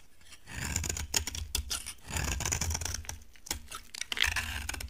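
A utility knife blade carves a solid, dry orange bar of soap, chipping flakes off it. Bright, dry scraping runs in bursts, broken by many short, crisp clicks and cracks as the blade bites and the flakes snap away. A faint low rumble sits underneath.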